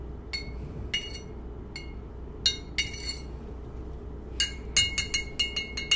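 A thin metal spoon stirs inside a white ceramic coffee mug that is held in one hand and holding a drink, clinking against the mug's inner wall. Bright, high-pitched clinks ring briefly in irregular bursts, clustering toward the end, over a steady low background hum.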